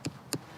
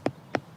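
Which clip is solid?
The first.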